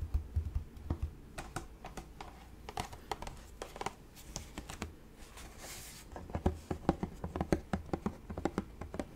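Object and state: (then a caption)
Plastic spray bottle. Fingertips and nails tap on the bottom and sides of a hollow, light-blue plastic spray bottle with a purple trigger, held up in the air. The result is a quick, irregular run of short, dry, hollow clicks and knocks that die away almost instantly, with a brief soft rustle partway through.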